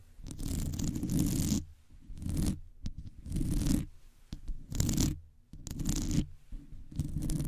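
Long nails on both hands scratch the top and sides of a metal wire mesh microphone head. The result is rough, scratchy bursts with a heavy, booming low rumble and a bright hiss on top, coming in uneven waves separated by short quiet gaps.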